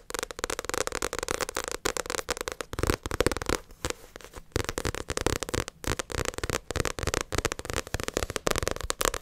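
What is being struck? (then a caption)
Paperback book with glossy cover. Long acrylic nails rapidly tap and scratch the glossy cover of a paperback Naruto manga volume, making a dense run of sharp, dry clicks with a bright crackle. The tapping briefly drops to a softer scratching near the middle before resuming at full pace.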